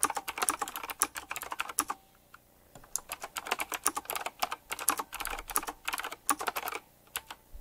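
Fingertips type at a slower pace on a retro typewriter-style mechanical keyboard with round plastic keycaps and metal rims. Crisp, bright clacks come in quick bursts, with a brief pause after the first two seconds and another near the end. Each click dies away almost instantly, with no low-end thump.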